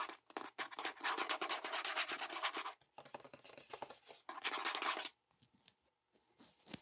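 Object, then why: Hollow plastic container. Fingertips and nails tap and scratch the sides of a medium-sized, hollow red plastic biohazard sharps container standing on a desk. Dense bursts of quick, bright plastic clicking and scraping come in three stretches, separated by brief pauses. They end in a few softer, sparser taps.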